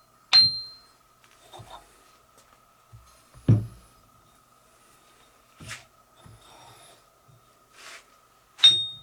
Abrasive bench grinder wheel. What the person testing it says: if they had cracks in them they would have a dead sound to them which they didn't they ring